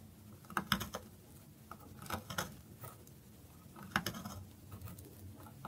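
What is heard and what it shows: A metal knife slices through the grooved face of a solid bar of dry soap held on a wooden board. Crisp, dry crackling snaps and scraping clicks come in short bursts, each dying away almost instantly, with quiet rustling in between.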